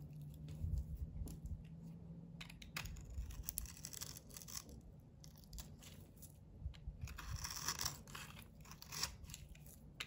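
A hand-held solid blue bar soap with a glitter coating and red heart sequins is scraped and carved with a box cutter blade, peeling off dry shavings. Repeated crisp, bright scraping and crunching strokes come in bursts over a low background hum.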